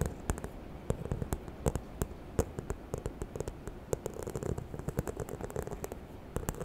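Long nails scratch and tap the textured front of a small, hollow, white croc-embossed faux leather handbag held close to the microphone. Quick, dry clicks with bright edges pop out over a steady low, rustling scratch, each tap dying away almost instantly.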